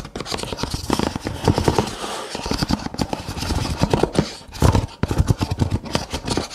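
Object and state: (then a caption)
Empty stack of paper cups. Fingertips and nails scratch and tap the ridged rims of a stack of nested brown kraft paper cups, hollow and empty. It makes a dense run of quick, dry taps and scratchy rasps with a soft, hollow low thump beneath. Each tap stops almost instantly, with brief quieter pauses between bursts.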